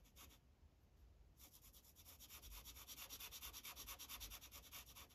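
An orange felt-tip Sharpie marker rubs over a thin printed paper coloring page resting on a hard clipboard. A short scratch opens, then after a brief lull the marker settles into quick, steady back-and-forth strokes. Each stroke is a bright, dry, papery hiss, with a faint low rumble underneath.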